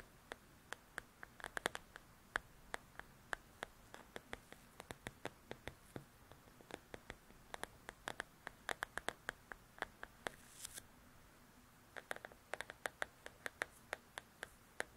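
Long acrylic nails tap and scratch across the glossy paper cover of a large, flat, solid paperback coloring book, "Belles and Blossoms," lying on a table. About 60 sharp, dry clicks come in quick, uneven bursts, each dying away almost instantly. A brief brighter scratching rasp breaks in midway, all over a quiet background hiss.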